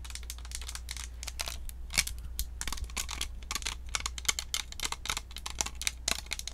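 Long acrylic nails rapidly tap and scratch the hollow, round white plastic shell and metal mesh grille of a Blue Snowball USB microphone. The result is a dense run of sharp, bright clicks and scratchy rasps with very short ring, over a steady low hum.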